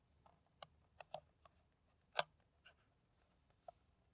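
An empty, clear plastic PET water bottle with its cap on is held and tapped with long nails on its hollow body. Sparse, quiet, dry clicks with a hollow tone around 690 Hz and a bright edge die away almost instantly, with the strongest tap just past two seconds.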